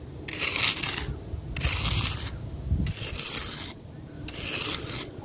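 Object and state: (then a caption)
Gravel ground raked with a stick. The end of a long, weathered wooden stick scratches and rakes across fine gravel and sand ground in four separate strokes. Each stroke is a bright, gritty rasp with a low rumble of shifting grains underneath, and short quiet gaps fall between strokes.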